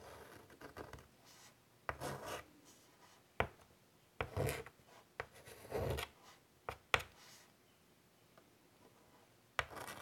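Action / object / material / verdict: scrape / chalk on a wood-framed chalkboard / chalk / none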